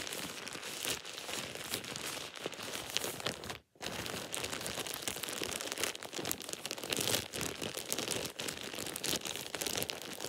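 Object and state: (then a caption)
Plastic shower cap. A thin, empty plastic shower cap is bunched up and squeezed between both hands and fingertips. It makes steady, dense crinkling with a bright, crackly texture and almost no low end. The crinkling breaks off into a brief silence near the 3.7-second mark, then continues to the end.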